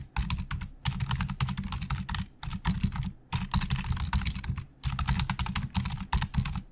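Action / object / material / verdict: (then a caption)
tap / plastic computer keyboard / plastic / none. Fingertips of both hands type very fast on the hollow plastic keys of a black plastic Logitech full-size keyboard resting on a desk. Dense bursts of quick, clattering keystrokes pair a low, hollow thump with bright clicks, separated by a few brief pauses. Each keystroke dies away almost instantly.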